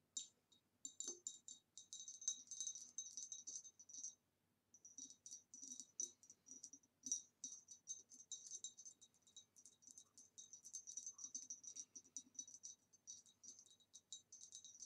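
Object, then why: Ribbed glass vase. Long nails tap quickly on the rim of a hollow, empty green ribbed retro glass vase standing upright, then move to the ribbed sides of its neck. The result is quiet, rapid, bright glassy clicks with a very short high ring, pausing briefly just after four seconds before continuing.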